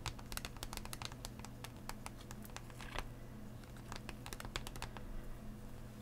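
Fingernails tap quickly across a hollow clear plastic blister holding Pokémon Astral Radiance booster packs, set on a cardboard backing lying flat. The result is a rapid run of short, bright, clicky taps with almost no ring. A steady low hum sits underneath.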